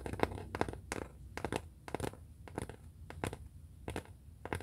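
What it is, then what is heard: Hardboard clipboard. A brown pressed-hardboard (masonite) clipboard, a thin flat solid board held upright in both hands, has its face tapped and scratched with long fingernails. Quick, dry, clustered taps with almost no ring alternate with soft scratchy rustling over a low background hum.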